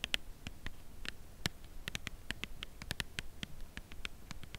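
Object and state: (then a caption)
Cardboard chocolate box tapped with nails. Long nails tap quickly on the front of a full cardboard chocolate bar box held at an angle. The result is a steady run of short, dry, bright clicks with almost no ring, over a faint low background rumble.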